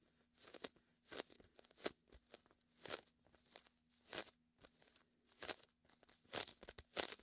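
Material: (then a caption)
Vinyl. Fingertips and a palm press and peel the sticky surface of a large red and white hollow inflated vinyl beach ball. The result is a series of bright, crackly, crunching bursts with short tacky snaps between them. A faint steady low hum runs underneath.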